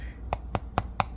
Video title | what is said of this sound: Sourdough Bread From Scratch!😋😃 Easy, Without Fancy Tools and Using American Measurements | it sounds Hollow when we tap on it